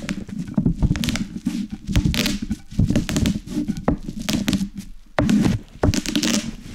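A wooden rolling pin, held in both hands, presses and rolls over a large sheet of plastic bubble wrap with hollow air cells lying on a wooden cutting board, popping the bubbles. Dense bursts of sharp pops and crackles sit over crinkling plastic and a low, thuddy rumble, with a brief pause before a final round of rolling.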